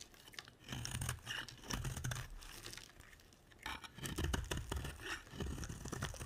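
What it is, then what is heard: Bar of soap being scraped. A utility knife blade scrapes and carves a solid, dry pink soap bar held in the hand. It makes dense bursts of crisp, crumbly scraping and shaving with quick crackles and soft low thumps, pausing briefly between strokes.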